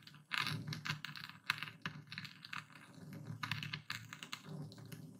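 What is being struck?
Coarse epsom salt crystals in a wooden bowl under a stone pestle.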